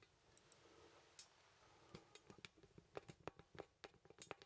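Fingertips tap a small, solid wooden artist mannequin and move its poseable limbs, producing quiet, dry ticking clicks from the joints. The clicks start sparse and become quicker and louder toward the end, each short and sharp with a bright edge and almost no ring.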